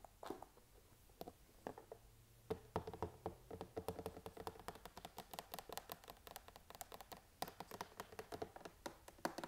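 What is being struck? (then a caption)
Clear plastic storage box. A clear, hollow, rectangular plastic storage box full of used makeup and skincare empties is held up and tapped on its side with long nails and fingertips. The result is a quick, irregular run of short, dry clicks and taps with a mid-range body and almost no ring, over soft low background noise.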